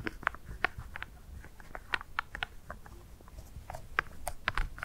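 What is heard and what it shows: Black plastic glove claws tap and scratch a single small solid dry ice pellet resting on dark fur. The result is a quick, irregular patter of short, dry clicks with bright tips and no ring, over a soft low rumble.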